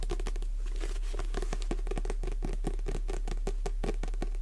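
Long nails tap and scratch the glossy card cover of a Jurassic Park paperback held upright in both hands. The result is a quick, uneven run of crisp clicks over a soft, steady scratchy texture.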